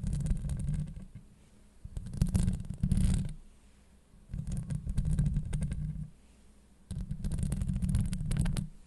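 Long acrylic nails on both hands scratch and tap a hollow steel mesh microphone head. The result is deep, muffled rumbling scrapes with faint bright crackles, arriving in four loud bursts separated by quieter pauses.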